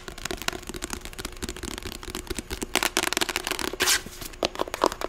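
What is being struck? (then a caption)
Paperback book with matte card cover. Long acrylic nails scratch and tap the matte cream cover and spine of a closed, medium paperback novel, *The Sight of You*. The result is a fast, dry run of crisp scratching and rubbing with quick taps mixed in, and a brief louder swipe comes near the end.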